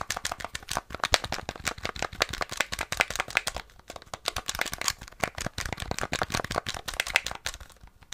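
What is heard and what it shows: Fingertips rapidly tap and click the buttons and casing of a small, hollow, rectangular grey plastic NES game controller with a black face panel, held in both hands close up. The result is a dense, continuous stream of sharp, bright plastic clicks and taps with almost no ring, uneven in loudness, with brief pauses near the middle and end.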